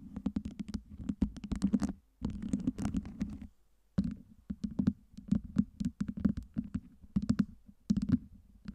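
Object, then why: Stack of small solid acrylic ice cubes. Long nails scratch the sides of a tower of small solid acrylic LED ice cubes and tap on its top, giving rapid dry clicks and brief scrapes with bright edges over a low, humming body. The bursts come in quick clusters, with short silent pauses near the two-second mark and again just before four seconds.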